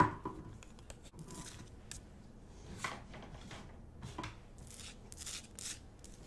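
A large, solid pink Himalayan rock-salt lamp on a wooden base is held close and scratched and tapped with long acrylic nails. Quiet, dry scratches mix with short, bright clicking taps that die away almost instantly, over a soft low rumble.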